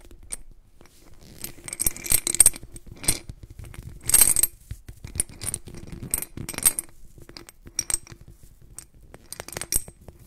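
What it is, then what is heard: Glass jar of glass beads. A white-gloved hand tilts and shakes a medium clear glass jar partly filled with blue glass beads, making them rattle and clink. Bright, high, glassy clicks come in uneven bursts with short, quiet gaps, and each clink dies away almost at once.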